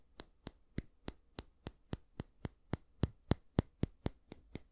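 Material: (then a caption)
Wood. Fingernails tap the solid wooden back of a small oval bristle hair brush, making 17 short, dry, clicky taps at a steady, slightly uneven pace. Each tap is a quick knock with a low thud underneath and a bright, crisp tick on top, with almost no ring between hits.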